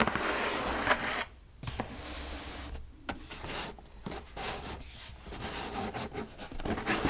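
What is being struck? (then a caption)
Cardboard shoe box. Fingertips and long pink nails tap and scratch the flat lid of a hollow, medium brown cardboard UGG shoe box lying on a bed quilt, with a second box piece sitting beside it. Dry, broadband scratching and rubbing alternate with soft, short taps and brief near-silent pauses. The hollow box gives the taps a dull, papery knock with almost no ring.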